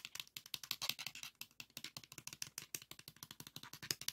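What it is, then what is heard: Plastic floppy disk. A pink 3.5-inch floppy disk with a hard plastic shell and metal hub is held in the hands while fingernails scratch and tap its textured plastic and edges. The result is a rapid run of about 36 dry, bright clicks and scrapes with almost no low end, each cutting off immediately.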